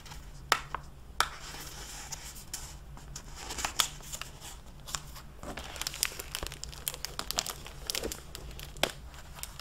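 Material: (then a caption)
Plastic film. Fingertips and long nails press and rub the pages of an open hardcover library book lying on a desk, and flip its cover, crinkling the clear plastic library jacket. Bright, dry crinkling and rustling runs throughout, broken by sharp, quick snaps and taps that die away almost instantly. A faint steady low hum sits underneath.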